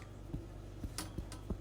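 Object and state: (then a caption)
Hollow-sounding, fully baked bread loaf. A baked oatmeal bread loaf, just out of its pan, is knocked four times on its bottom, giving soft, low, hollow thumps with almost no ring. The hollow sound shows the bread is done.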